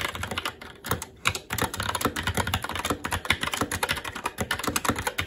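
Fingertips of both hands type continuously on a SteelSeries Apex 7 TKL mechanical keyboard with red linear switches, plastic keycaps and a metal top plate. Rapid, short, clacky keystrokes overlap in a steady stream, with a brief lull just after the first second. Each tap is bright and dry with a soft low thump underneath and almost no ring.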